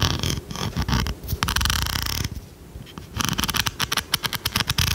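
A large blue plastic pencil sharpener with a metal blade is held up in one hand and tapped and scratched with long red nails. Bright, dry scratching rasps and brief pauses give way to a quick run of crisp, clicky taps.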